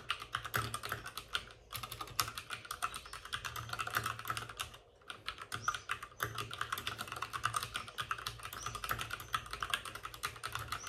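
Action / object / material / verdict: tap / plastic mechanical keyboard / plastic / none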